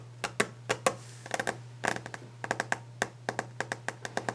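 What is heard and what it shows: Long nails tap rapidly on the solid, polished top of a varnished wooden desk, giving about 21 short, crisp clicks in quick, uneven bursts. Each tap dies away almost at once, with a mid-range knock and a little bright edge, over a steady low hum.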